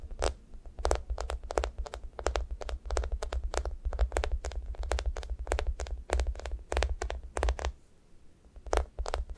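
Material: Foam.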